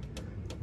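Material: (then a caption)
Plastic. Light taps on a removed plastic Ford Raptor truck grille give short, dull, low-pitched knocks with almost no ring. A steady low rumble sits underneath.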